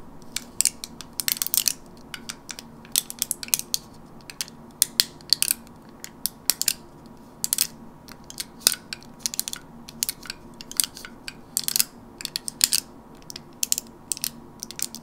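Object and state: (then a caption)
Plastic and foil blister pack. Long natural nails tap and scratch the plastic and foil surface of a flat, rectangular, teal printed gum blister pack held in one hand. The result is a steady run of sharp, bright, crinkly clicks and scratches in irregular bursts, with each sound cutting off almost instantly, over a faint, steady low hum.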